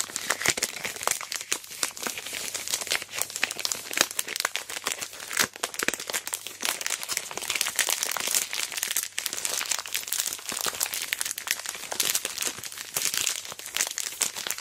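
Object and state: Plastic-wrapped chocolate bar.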